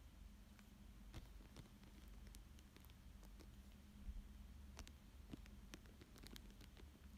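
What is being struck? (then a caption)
Thin plastic sheet over paper. Fingertips and short nails trace, rub and crinkle a thin clear plastic sheet lying flat over a paper fish drawing. Soft, quiet crinkles and sharp, bright ticks scatter through the clip over a steady low hum.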